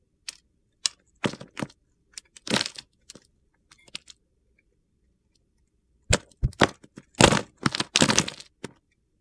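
A metal box-cutter blade shaves and scrapes along the edge of a solid light-blue Coast bar soap held in the hand, peeling off long curls. Short, dry, crunchy cracking scrapes come in quick bursts, then a pause of about two seconds, then a denser, louder cluster of gritty shaving strokes.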